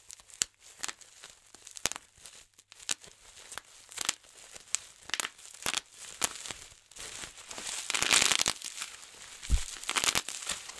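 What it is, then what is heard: Plastic bubble wrap being popped. Fingertips pinch the bubbles of a large, clear plastic bubble wrap sheet, giving a run of sharp, bright, dry pops with quiet crinkling between them. Then both hands grip and twist the rolled sheet, releasing a dense burst of high crackling and rapid pops.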